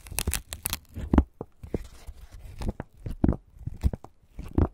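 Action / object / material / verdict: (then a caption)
scrape / fresh corn husk on an ear of corn / corn husk / none. Hands peel and tear the pale green, fibrous husk layers from a fresh ear of corn, heard close up. A run of sharp, ripping bursts with dry crackle and a low, thumpy body comes in uneven pulls and short pauses.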